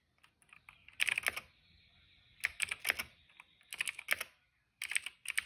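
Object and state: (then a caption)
Plastic mechanical keyboard. Fingertips type on a cream plastic retro mechanical keyboard with plastic keycaps and a hollow case. Quick bursts of bright, clacky keystrokes come in clusters, separated by short quiet pauses. A faint steady tone sits under the taps.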